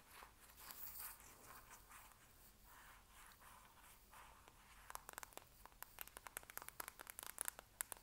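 A small, hollow white cylindrical plastic cosmetic container, likely empty, is held in both hands and scratched and tapped with long acrylic nails. Soft, airy scratching and rustling swells for the first half, then gives way to a quick run of sharp, bright, dry clicking taps that stop instantly with no ring.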